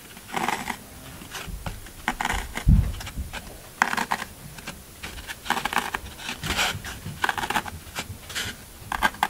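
Fingertips of both hands press into the top of a solid green floral foam brick resting on a table, leaving rows of dents. Bursts of dry, crisp crunching come in uneven clusters, with a soft low thump partway through and quiet pauses between presses.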